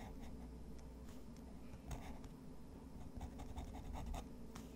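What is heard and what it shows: A black fountain pen's metal nib scratches across a large, flat sheet of thick, textured white watercolor drawing paper resting on a wooden desk, making short drawing strokes. Soft, dry scratches and brief brighter rasps sit over a steady low hum.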